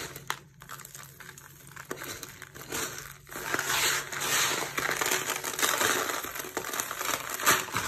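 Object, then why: Soap shavings. A pile of small, dry, crumbly green soap shavings on a purple surface is scooped up and crushed between the fingertips and palms of bare hands. Dense, bright crunching and crackling crumbles away in irregular bursts, starting quieter and growing louder and fuller about halfway through.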